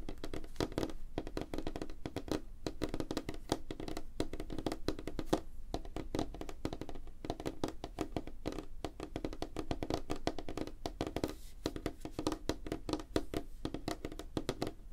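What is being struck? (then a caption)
Wooden tabletop. Fingertips and nails of both hands tap fast on a flat, light-colored, solid wooden tabletop. The result is a dense, steady stream of short, dull knocks with a woody tone around 300 Hz and very little brightness. Each tap dies away almost at once.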